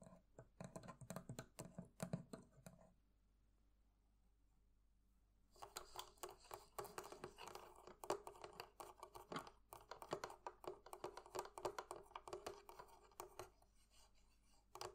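Long fingernails on both hands tap two small metal clasps on the front of a hollow wooden barrel chest, making quick, dry, clicking taps with a bright edge and a light hollow knock. A burst of tapping stops after about three seconds, then returns after a quiet pause as a dense, steady run of rapid clicks that lasts to the end.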